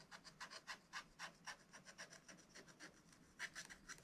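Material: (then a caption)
Waxed paper. A wooden stylus rubs and scratches back and forth across a black wax-coated scratch-art paper page in a spiral notebook, filling in a red bird. The clip is a quiet, rapid, uneven series of dry, bright rasping strokes with almost no low end.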